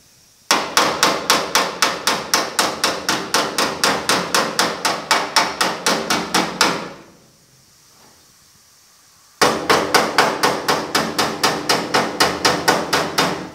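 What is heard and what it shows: A steel body hammer held in the hand strikes the welded patch over the old antenna hole on the thin, hollow-backed, blue-painted sheet steel roof/cab panel of a 1950 Chevy truck. About 41 rapid, steady metal-on-metal hits come at roughly four per second, each a bright, sharp clang with a short ring. The hammering runs in two bursts separated by a quiet pause of about three seconds.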